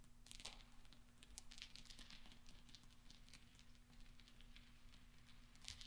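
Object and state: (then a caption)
Small steel balls clinking. Fingertips and nails of both hands stir a cluster of small solid steel pachinko balls resting on black velvet, making them clink together. The result is a quiet, continuous stream of soft, bright metallic clicks and light rattling, over a steady low hum.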